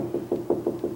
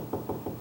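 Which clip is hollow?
The first.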